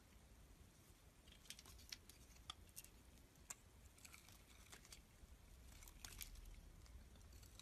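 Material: Soap.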